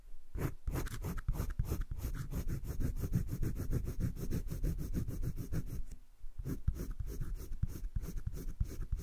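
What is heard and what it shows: A green wooden colored pencil makes dense shading strokes across a flat, spiral-bound sketchbook paper page, giving a steady, rapid scratch-and-rub texture. The strokes run continuously with a short pause around six seconds, then resume at the same pace.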